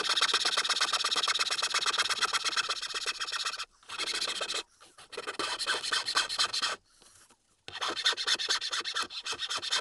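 A small, solid, pale wooden Tengu mask blank for a keychain is held flat under the fingers and rasped with a large flat metal file in quick back-and-forth strokes. The result is a steady, bright, gritty scraping that stops briefly a few times before resuming.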